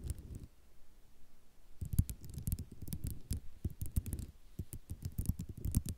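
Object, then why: Ceramic mosaic tile sheet. Long nails scratch and tap across a flat sheet of white ceramic mosaic tiles. Soft scratching at the start gives way after a brief lull to a quick run of dry, close taps and clicks with a dull low body and no ring, each dying away almost at once.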